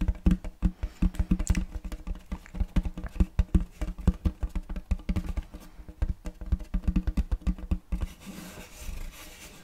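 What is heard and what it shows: Fingertips tap rapidly on a large, flat, round wooden serving tray with a checkerboard block pattern and a raised rim, solid and empty, held upright close to the mic. The taps are quick, dull, low knocks with almost no ring. Near the end they stop and give way to a softer, brighter hiss.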